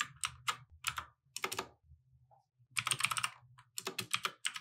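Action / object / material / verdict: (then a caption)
tap / mechanical keyboard with plastic keycaps / plastic / none. Both hands type with their fingertips on a compact mechanical keyboard with plastic keycaps, resting on a wooden desk. Bright, sharp clacks come in quick bursts, separated by short pauses and a faint low hum.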